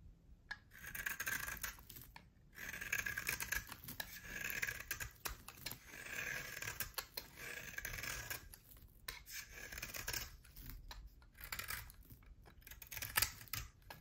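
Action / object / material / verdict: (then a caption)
scrape / bar of soap scraped with a knife blade / soap / none. A utility knife blade carves and scrapes the black, green-dotted outer layer off a solid bar of soap held in the hand, exposing its cream interior. The clip is a quiet, bright, crackly series of scraping strokes with short pauses between passes.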